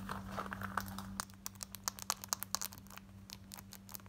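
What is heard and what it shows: Long nails scratch quickly over worn, light blue distressed ripped denim shorts, working across the pocket, the button area and the frayed front. A dense rasping scrape in the first second gives way to sharp, separate bright scratches and clicks, all over a steady low hum.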